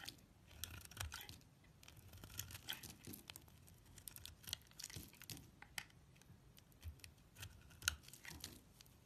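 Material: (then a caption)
Soap. A utility knife blade shaves curls from and scrapes the surface of a solid purple soap bar. Many quiet, dry scratching and crisp shaving strokes come in uneven bursts, bright and papery, with a soft low rumble beneath.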